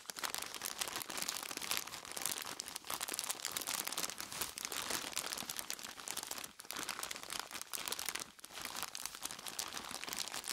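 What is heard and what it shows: Purple nitrile-gloved fingers squeeze and scratch the front and sides of a large clear plastic bag full of crushed ice. The result is a steady, bright stream of crinkling and crunching with almost no low end, dipping briefly twice before picking back up.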